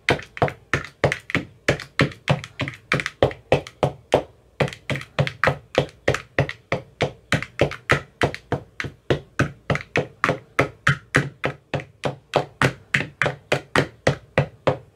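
A white-tipped metal rod taps steadily into the green silicone cells of an empty clear plastic ice cube tray. About 67 short, dull thunking taps come in a fast, fairly even rhythm, with a brief pause near the four-second mark. Each tap dies away almost at once.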